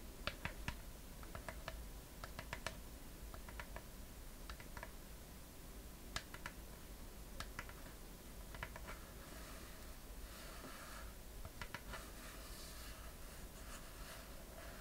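Long fingernails tap the lid of a small, closed, hollow wooden treasure chest with a decorative metal latch, held in one hand. Quick, light clicks come in scattered bursts over a steady low hum, and the short, bright taps die away almost at once.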